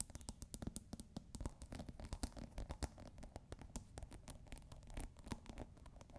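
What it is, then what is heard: Plastic scent pod on a glass bottle. Long nails scratch and tap the ridged top of a plastic scent pod capping a clear glass bottle partly filled with water. The result is a quiet, dense run of quick, dry scratches and ticks with a soft low thump under them, each stroke dying away almost instantly.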